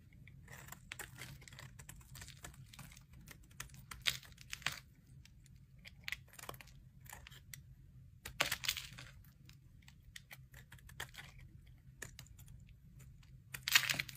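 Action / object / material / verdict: scrape / soap bar scraped with a metal blade / soap / none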